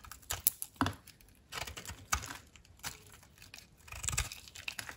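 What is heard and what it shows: A utility knife blade cuts and scrapes a solid, dry blue soap block held in the palm, flaking it into brittle pieces. Irregular, dry, crisp crackles and scrapes come in short bursts with bright, crumbly detail and sharp snaps. Each cut dies away almost instantly.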